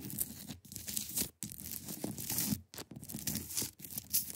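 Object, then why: Block of ice. Long acrylic nails scratch across a large, solid, clear ice block. The result is a run of dry, bright, rasping scratches with a faint low body underneath, broken by a few brief silent pauses.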